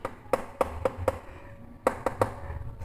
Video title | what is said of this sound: REVIEW Mikroskop YCS 6575X | Ini coba kita ketuk dan ini ternyata plastik.